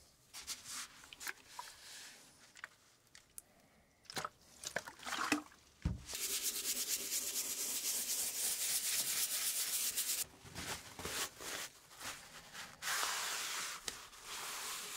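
A flat, solid wooden base board from a rare 1908 typewriter is rubbed firmly with gloved hands and a cloth. Short, bright, scratchy strokes come first, then a low thump, then a long, steady hiss of dense rubbing. Quieter rubs and another sustained bright stretch follow at the end.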